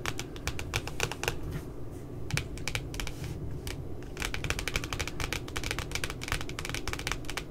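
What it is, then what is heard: Glossy cardboard notebook cover. Long glitter nails tap rapidly on the glossy, laminated cardboard cover of a pink spiral puppy notebook. The taps are quick, dry, bright clicks with almost no ring, coming in dense bursts with brief pauses over a steady low background hum.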